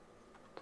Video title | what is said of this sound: Steelseries Sensei 310 Gaming Mouse are FIRE! | if you go up and down you still hear it